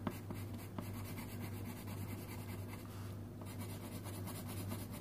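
A red wooden colouring pencil scratches and rubs across a thin printed paper colouring sheet lying flat on a wooden table, while the other hand holds three yellow pencils still. A steady, soft scratchy rasp of pencil on paper continues throughout, with a low steady hum underneath and a few faint taps near the start.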